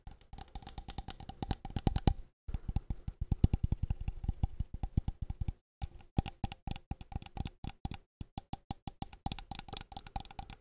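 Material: Plastic.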